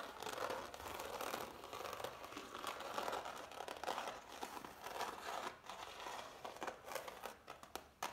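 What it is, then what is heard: Impasto oil painting on canvas. Long nails scratch and tap across the thick, dried ridges of oil paint on a framed impasto oil painting on canvas. The result is a steady, dense crinkling scratch in the mid and upper range, broken by quick, sharp clicks of tapping.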